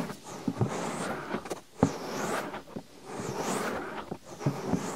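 Fingertips with short nails rapidly rub and scratch the soft, hollow molded silicone ear on the right side of a 3Dio-style binaural microphone mounted on a white disc. Close, dense scratching and rubbing noise rises and falls in waves, with bright swishing sweeps and occasional soft low thumps.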